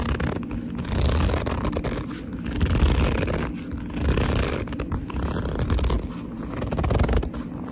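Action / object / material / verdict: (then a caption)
scrape / leather purse / leather / none. Fingertips with long nails squeeze and rub the glossy, hollow front of a black leather purse, producing squeaky gripping and rubbing sounds. The sound is low and muffled, rising and falling in uneven waves as the grip tightens and releases.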